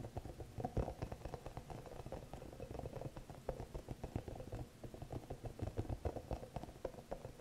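Long nails scratch and tap the soft spikes of a small green hollow rubber spiky massage ball held up close. The result is a dense, quiet patter of short, dull taps and scratchy rustles, heavy in the low end with little brightness. It sounds much like rain pattering on a surface.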